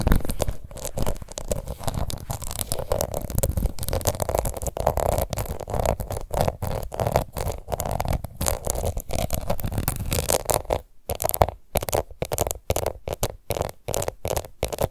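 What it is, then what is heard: Plastic powder compact scratched with nails. Long nails scratch across the embossed side of a small, round, pink plastic face powder compact held in one hand. The result is a dense, rough, crackling scratch texture with a low rumbling body. After a brief silence near the eleven-second mark, it breaks into choppier, stop-start strokes.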